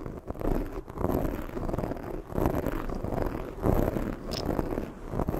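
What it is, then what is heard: Foam microphone windscreen scratched and rubbed. A black foam microphone windscreen is scratched by long nails, then gripped and rubbed by one hand. The result is a continuous, dense scratchy rustle with a heavy low rumble and waves of rising and falling friction noise, with no bright high content.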